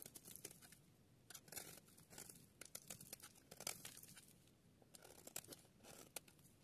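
A metal utility blade scrapes and shaves flakes from one end of a solid yellow bar of dry soap held in the hand, sped up to double speed. Rapid, dry crackling and crunchy tearing sounds come in quick bursts, bright and crisp with little low end, the scraping strokes running together without clear gaps between them.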